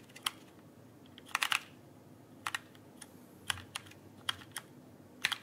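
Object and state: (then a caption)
Plastic mechanical keyboard. Fingertips tap the plastic keycaps of a backlit mechanical keyboard held upright, producing about fourteen short, bright clicks in irregular clusters over a quiet background. Each click is crisp and dies away almost at once, with its energy concentrated around 2 kHz and very little low end.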